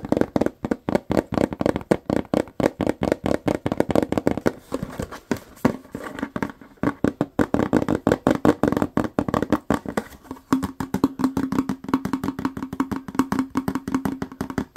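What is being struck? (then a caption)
Plastic cleaner bottle. Fingertips and short nails rapidly tap and scratch a medium-size white plastic Lysol toilet bowl cleaner bottle with a paper label, hollow and likely filled with gel. Dozens of quick, dry, hollow taps run almost continuously, each dying out instantly, with a soft midrange body and little bass or brightness. Scratchy rustling fills the gaps, and a faint steady low hum sits under the last few seconds.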